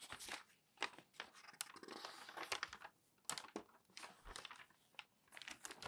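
An open newsprint newspaper lies flat on a table while palms rub across the sheet and fingers lift a page corner to turn it, crinkling the paper. Soft brushing swells into sharp, bright crackles and crisp snaps, with almost no low end and quiet pauses between bursts.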